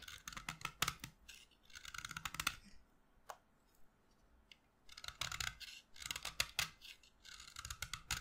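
A solid white chalk stick held in the hand is carved with a utility knife blade. Bursts of dry, bright scraping and cutting strokes come in clusters, separated by a quiet pause broken by a single sharp click.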